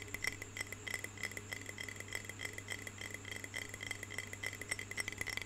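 Long fingernails tap rapidly and unevenly on the walls of a medium clear glass jar with a lid, filled with water. Each tap is a short, bright clink with a quick decay, ringing near 2 kHz, over a steady low hum.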